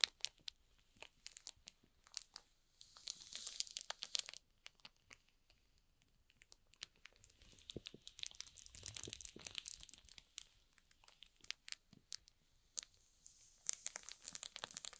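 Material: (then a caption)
Plastic film. Fingertips rub and press the wrapped top and edge of a small, hollow cardboard box sealed in shrink-wrap plastic film. Quiet, bright crinkling and crackling come in clusters of sharp clicks, with denser bursts of rustling around 3–4 seconds, 8–10 seconds, and near the end. There is almost no low end, and each crackle stops instantly.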